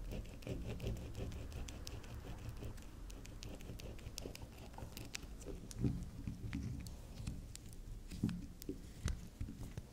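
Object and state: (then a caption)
Bar soap tapped and scratched with nails. Long nails tap and scratch the edge and face of a soft, solid, round pink swirl bar soap standing on a table. The result is a quiet, continuous patter of short, dull taps and scratchy rubbing, heavy in low tones and dotted with faint bright clicks.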